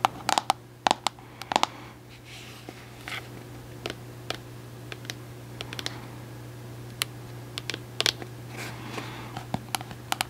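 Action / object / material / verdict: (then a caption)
tap / plastic cosmetic jar / plastic / none. Long acrylic nails tap and scratch the side and orange lid of a large white plastic Cantu shea butter jar, which is hollow but probably full of product. Sharp, bright plastic clicks come in uneven clusters, with softer scratching between them over a steady low hum.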